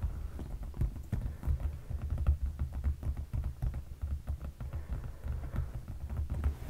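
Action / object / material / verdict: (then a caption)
tap / padded leather sofa cushion / leather / none. Fingertips of both hands tap and scratch a dark padded leather sofa cushion. It gives a rapid, uneven run of soft, dull thumps that are deep and boomy and die away almost at once, with faint scratchy clicks mixed in.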